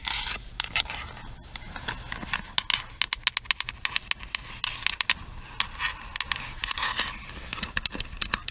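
Long nails tap and scratch the smooth plastic back and the hollow handle of a pink plastic paddle hairbrush. Rapid, sharp, bright clicking taps stand out over a steady, hissy scratching. Each tap dies away almost instantly.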